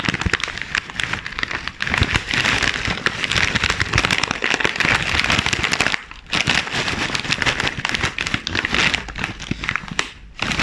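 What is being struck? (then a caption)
Plastic foil chip bag. Black-gloved hands crumple and crinkle a sealed, full chips bag made of glossy plastic and foil film, then rub and press its front with their fingertips. The result is a dense, continuous, bright crackling with short dips in loudness around the 6- and 10-second marks.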